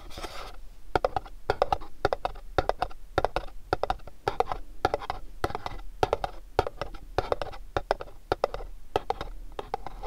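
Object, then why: Cardboard gift box. A pink cardboard candle box with a dark red back panel is tapped and scratched with fingernails. Quick, dry taps come in rapid clusters over a soft, continuous scratching hiss, each tap dying away almost instantly with a papery midrange tone.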